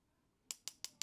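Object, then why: Mineral glass watch crystal tapped with a pen tip. A pen tip taps the mineral glass crystal of a square DW5600 G-Shock watch four times. Each tap is a sharp, bright click, almost entirely above 2 kHz, that dies away almost at once.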